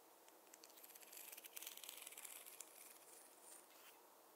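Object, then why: Wooden fine-tooth comb. A wooden or bamboo fine-tooth comb is tapped in a quick, uneven run of light clicks. The taps are quiet, bright and dry, with almost no low end, building to a denser cluster in the middle before thinning out into a soft hiss.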